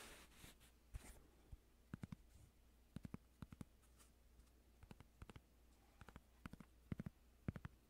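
Fingertips scratch and tap the surface of a small, flat cork coaster held in front of the microphone. A soft, brief scratchy rustle opens the clip, followed by a quiet series of short, dry taps and clicks spread irregularly over a low, steady hum. Each tap dies away almost instantly, leaving a muted, close-up texture.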